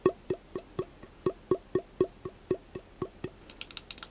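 A hollow cardboard wrap core tube, held upright with its open end forward, is tapped fast with fingertips and short nails. Seventeen quick, dry taps come at about four per second, each a short hollow knock pitched near 370 Hz. The clip ends with quieter, brighter clicks.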